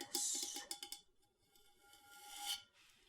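A Yeti water bottle is tapped with four quick, bright metallic taps that leave a steady ringing tone hanging in the air. A soft rising rustle follows as the bottle is brought closer, fading out at the end.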